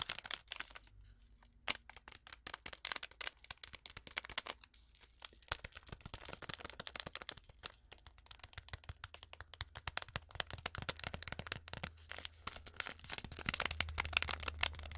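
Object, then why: Foil-lined paper tea sachet. A small, flat, sealed Twinings foil-lined paper tea sachet with a tea bag inside is tapped, scratched and crinkled with long acrylic nails. Dense, fast, bright clicks and crackly crinkles run throughout, with a steady low hum growing slightly louder toward the end.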